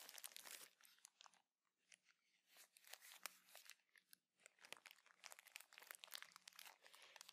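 A clear plastic bag of cotton pads with a teal label is held in the hands and crinkled and scratched with the nails. Soft, bright, crisp crinkling and crunching comes in dense bursts with brief quiet pauses, over a faint steady low hum.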